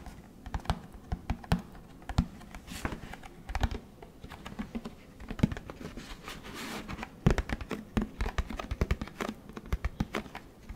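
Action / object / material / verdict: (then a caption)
tap / plastic detergent jug / plastic / none. Fingertips tap rapidly and irregularly on the plastic sides and cap area of a large orange plastic Tide detergent jug held by the microphone. The taps are short, dull and clicky, with most of their weight in the low range and very little brightness. They fade almost instantly, like fast typing on a keyboard.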